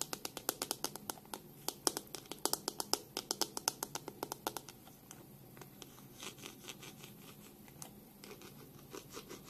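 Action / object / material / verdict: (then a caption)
scrape / plastic hairbrush / plastic / none. Long pink nails slowly scratch and rub over the plastic back of a black plastic hairbrush held in both hands. For about the first half, sharp, bright clicking scratches come in quick, uneven bursts, then give way to softer, quieter rubbing with occasional light ticks.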